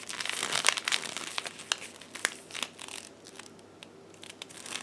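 A sheet of blue paper is folded, crumpled and torn by hands in black lace gloves. Dense, bright crinkling and tearing crackles fill the first three seconds, then thin out to sparser, softer crinkles with a few sharp rustles.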